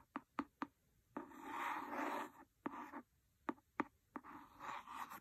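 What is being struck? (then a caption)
Cloth-bound hardcover book with a wooden pencil. A wooden pencil scratches and scrapes the cover of a large, solid, red cloth-covered hardcover book. Three quick, sharp scratches open the clip, followed by a long, dry rasping scrape across the cloth. More short, crisp strokes and another drawn-out scrape follow.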